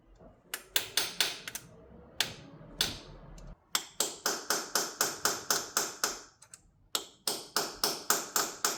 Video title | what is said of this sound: This Volvo V70 has broken off Bolts in the engine block. Can we Save it? | if I tap it, You can hear it. So I think this one might be loose.